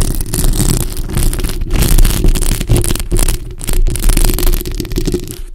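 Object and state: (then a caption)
Metal mesh microphone grille being scratched. Long acrylic nails scratch both sides of the hollow metal mesh grille of a black bare microphone. The result is a dense, continuous rumbling scrape, heavy in the low end with a faint bright hiss, swelling and dipping in loudness throughout.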